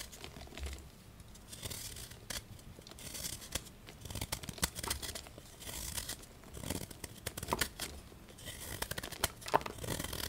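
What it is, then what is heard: Gym chalk block, carved. A solid white gym chalk block of magnesium carbonate with pink traces is held in the hand and carved with a small patterned knife, scraping flakes off into a bowl. The sound is a quiet, continuous run of dry, bright scraping and crumbling bursts with soft low thuds mixed in.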